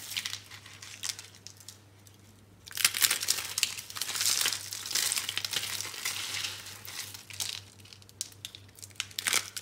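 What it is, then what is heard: Dry soap curls. Bare hands crush small, hollow, rolled curls of dry, brown-pink recycled soap on a green surface. Dense, bright crunching and crinkling crackles are heard, with a short quiet lull before louder bursts of crushing resume, over a faint steady low hum.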